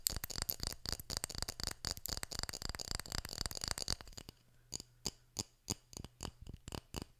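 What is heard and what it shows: Fingertips tap and scratch the glass side of a small, partly filled glass jar with a metal lid and white label. For the first four seconds, quick, bright clicks and scratches run together densely. After that, they thin out into separate, sharp taps over a faint low hum.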